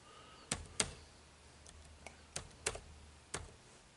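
Fingertips type rapidly on the dark plastic keys of an HP laptop keyboard, producing seven short, bright clicks with uneven gaps. Each click is crisp and dies away almost at once over a faint, quiet background hiss.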